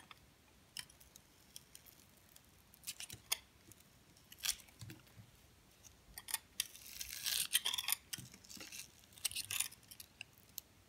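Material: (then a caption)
Soap. A metal blade peels and scrapes strips off a purple glitter-coated soap bar held in the hand, exposing the pink soap underneath. Many quiet, bright, crisp scraping and crackling strokes come in bursts, with a denser, louder stretch of scraping in the middle.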